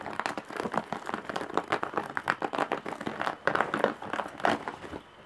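Long nails scratch across the surface of a large woven straw and jute bag with embroidery and metal rings for handles. The result is a dense run of dry, crinkly scratching bursts centered in the mids, with quick rhythmic strokes that stop abruptly and leave near silence at the end.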